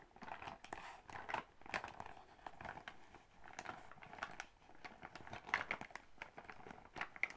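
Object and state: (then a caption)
Metallic faux-leather makeup bag. Long acrylic nails tap and scratch a soft silver metallic faux-leather zippered makeup pouch, likely partly filled. The result is a quiet, steady run of crisp, crinkly taps and rustling scratches, brightest in the upper mids, with very short, dry decays.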